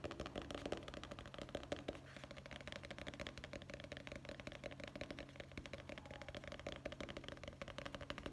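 Fingertips tap rapidly on the hard cover and edge of a dark hardcover guest book held with its cover and back showing. The result is a dense, fast stream of dry, short clicks and knocks that stop almost instantly, over a faint steady low hum.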